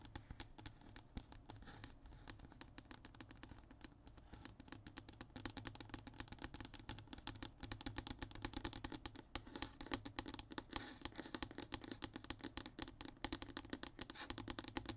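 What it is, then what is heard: Hardboard panel. A flat, thin, solid brown hardboard (MDF) fiberboard panel lying on a table is scratched and tapped with the short fingernails and fingertips of both hands. Quiet, dense, rapid scratches and dry clicks with almost no ring run throughout over a low steady hum. The strokes grow busier and brighter after about five seconds.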